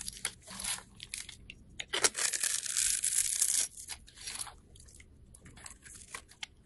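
A craft knife blade scrapes and carves grooves and flakes into a small solid yellow soap bar held in the hand. Bright, dry scraping and crunchy flaking strokes come in irregular bursts, with a longer sustained scrape around the middle.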